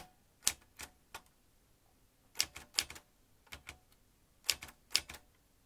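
Fingertips press the keys of a vintage metal manual typewriter, swinging its metal typebars toward the ribbon spool. Sharp, bright clacks arrive in short, uneven bursts separated by brief pauses. Each strike is dry and snaps off almost at once, with almost no low end.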